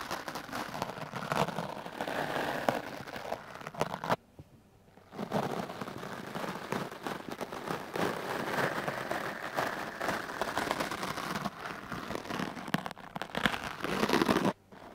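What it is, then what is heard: Foam microphone windscreen brushed. A large dark blue foam microphone windscreen, held in the hand, is brushed with the hard black bristles of a wooden clothes brush. Rapid, dense, scratchy brushing strokes crackle continuously, stopping in a brief silent pause around four seconds. The strokes then resume and cut off just before the end.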